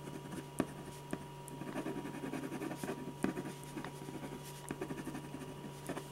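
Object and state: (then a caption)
Pen scratching on a paper sketch pad. A metal ballpoint pen tip scratches short strokes across a large sheet of white drawing paper resting flat on a firm, solid board while drawing a face. Quiet, dry scratching rasps in busy bursts, broken by a few sharper ticks, over a steady low hum and a faint constant tone.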